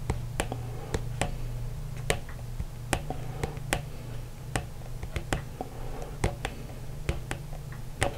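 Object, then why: Small plastic slime cup. Fingertips and short nails tap and scratch the side of a small, hollow, yellowish plastic slime cup with a printed label, held in one hand. About twenty sharp, brief clicks ring out over a steady low hum around 105 Hz, with quieter scratching between them.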